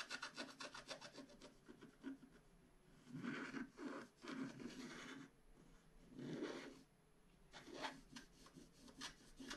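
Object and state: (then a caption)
Scratch-art paper sheet. A wooden stylus scratches the black coating off a flat scratch-art card page that one hand holds down. It makes quick, dry, rasping strokes at first, then longer, louder scraping passes with bright, gritty texture and brief quiet gaps between them.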